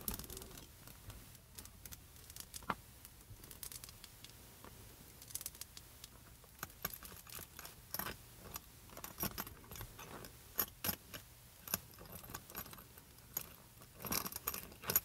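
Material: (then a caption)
Metal. Hands with long press-on nails jiggle the gold-tone metal chain strap of a small pink faux leather mini backpack, which also has a metal zipper pull, against the bag. The result is soft, light metallic jangling: many quick, bright clinks and rattles that swell into louder bursts toward the end, over a quiet, low hum.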